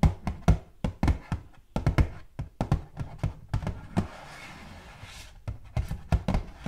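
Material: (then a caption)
Cardboard. Long gold metal claw nails tap rapidly on the flat face of a hollow, purple butterfly-printed cardboard gift box. The taps are dull, low, hollow thuds that die away almost at once. They come in quick bursts, with a brief softer, hissy lull in the middle before the tapping resumes.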